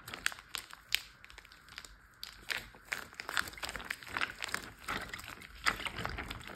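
A large clear plastic Ziploc bag full of water is tapped with fingertips and short nails. It gives a steady run of quick, bright crinkling taps and light plastic crackles with little low end, each one short and dry.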